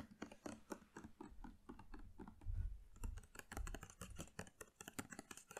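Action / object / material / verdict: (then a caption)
tap / hard plastic detergent bottle with screw cap / plastic / none. A hollow, hard plastic Planet Pure laundry gel bottle with a plastic screw cap, partly full of liquid, is tapped with long nails on the cap and body while held close to the mic. Quick, irregular, dry clicking taps with short ticks sit over a soft low thud, swelling into a denser, louder cluster midway before settling back into scattered taps.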